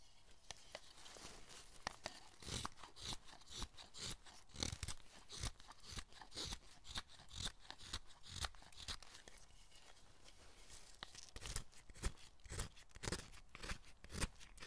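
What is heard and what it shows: A long wooden-handled chisel shaves and scrapes a solid carved hinoki cypress piece in short, uneven strokes, about two a second. Each crisp, tearing cut has a bright edge and a soft low thump beneath, and the strokes are dry with almost no ring.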